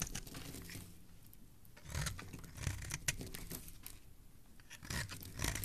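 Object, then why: Bar of soap. A solid pink Saloon bar soap, held at its ends by fingers with lilac nails, is shaved with a metal blade. Crisp, bright scraping and crumbly crackles come in repeated strokes over a soft low rumble, with a few louder scrapes standing out.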